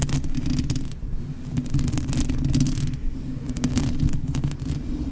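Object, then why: Foam microphone windscreen. Fingertips and long nails of both hands scratch and rub over the black foam windscreen on a blue USB microphone. The sound is a steady, heavy low rumble of scraping with bright crackly bursts that flare and fade, staying close and dense throughout.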